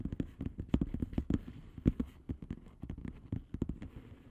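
Long polished fingernails on both hands tap and scratch the plastic bubble-wrap surface of a flat padded envelope lying on a table. The result is a quick, irregular run of dry, soft clicks and scrapes with a dull, low-heavy body, each dying out almost at once.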